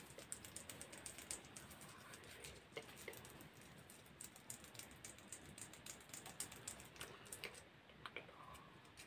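Long white plastic press-on nails on the fingertips are clicked and tapped against each other close to the microphone, their small, hard, hollow tips giving quick, bright clicks. The taps come rapidly and unevenly over a soft hiss, each dying away almost at once, in a dense stream that sounds much like typing.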